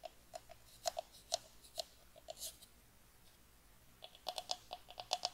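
A small, light, hollow pine wooden box is tapped and scratched with long nails. The result is a run of short, dry, clicky taps with a woody tone and bright high edges, plus a soft scratchy swish in the middle. The taps are scattered early on and come in a quicker cluster toward the end.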